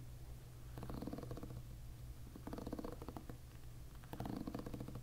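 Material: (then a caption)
Plastic. A plastic-pin hairbrush is held bristles-up while fingertips strum its plastic pins, making a soft, continuous fluttering rattle. Three separate strumming passes rise over a steady low rumble, each a quick run of tiny ticks.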